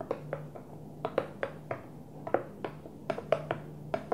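A Tupperware plastic food container is gently tapped in an irregular series of light, hollow knocks. Each knock is short and dry with a mid-range tone around 650 Hz and almost no ring. A faint low hum sits quietly underneath.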